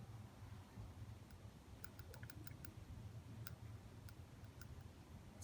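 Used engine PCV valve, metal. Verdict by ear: Sticky.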